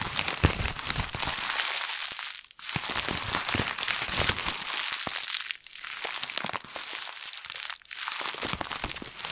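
A thin printed plastic bag is balled up, squeezed and crushed in both hands with long nails. It makes dense, bright crinkling and crunching that runs almost continuously. Brief quiet gaps come between squeezes, near 2.5, 5.6 and 8 seconds.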